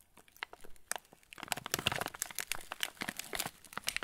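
A full yellow plastic-film TUC cracker packet is turned in the hands while fingertips squeeze the wrapper. The result is bright, sharp crinkling and crackling, sparse and quiet at first, then denser and louder for the rest of the clip.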